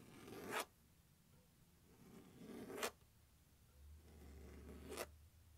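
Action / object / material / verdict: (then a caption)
scrape / hard plastic glockenspiel case lid / plastic / none. Fingernails scratch and tap across the lid of a large, hollow, closed turquoise hard-plastic glockenspiel case resting on carpet. Three separate raspy strokes each swell in loudness and cut off sharply, like a zipper being pulled. A low hum rises underneath near the end.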